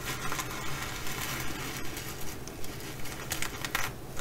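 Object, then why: Sequin-covered fabric bag. Long acrylic nails scratch and brush across a blue and bronze reversible flip-sequin fabric bag, flipping the sequins over to the bronze side. A dense, rough scratching and crinkling runs throughout, with bright clicking ticks from the sequins popping out in a loosely regular rhythm over a low rumble.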